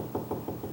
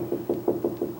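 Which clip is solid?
The first.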